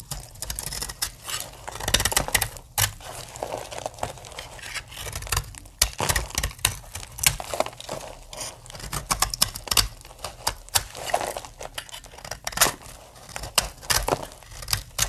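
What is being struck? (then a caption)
Bar of soap cut with a knife blade. A solid pink dry soap bar held in the hand has curls scraped and cut from its edge with a utility knife blade, with flakes falling onto the table. Dense, bright, crisp scraping and crackling strokes follow one another in quick, uneven bursts, each dying away almost instantly.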